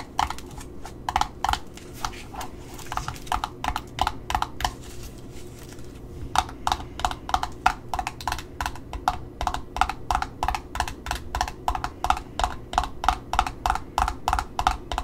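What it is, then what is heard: Paper label on cardboard ribbon spool. Long fingernails tap and scratch a paper price sticker on the cardboard end disc of a Simplicity red ribbon spool. Dozens of quick, dry clicks with a papery midrange tone around 760 Hz and a bright edge come in an uneven rhythm. A softer stretch of scratching near the middle separates them, and each tap dies away almost instantly.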